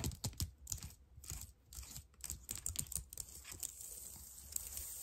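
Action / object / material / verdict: tap / plastic computer keyboard keys / plastic / none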